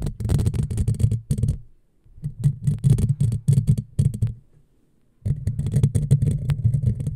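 Long fingernails of both hands scratch rapidly over a hollow black metal mesh microphone grille, producing a dense, boomy low rumble with crackly scraping texture on top. The scratching comes in three bursts separated by short silent pauses.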